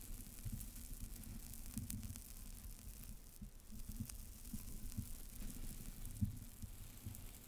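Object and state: Foam disc, tapped.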